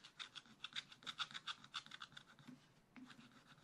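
A thin wooden stylus scratches the black coating off the small parrot area of a scratch-art paper page in a spiral-bound book, which is held flat with one hand. Quick, short, dry scraping strokes come in a loose rhythm, bright and raspy with little low end. They soften briefly before a final flurry of strokes.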